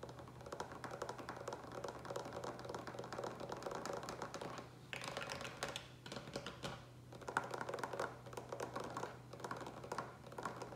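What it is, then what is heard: Plastic water pitcher tapped with fingertips and nails. Fingertips and nails tap quickly and continuously on the sides of a large green plastic water pitcher with a lid, partly filled with water. The taps are short, dry clicks centered around 1.4 kHz, with brief lulls near 5 and 7 seconds. A steady low hum sits underneath throughout.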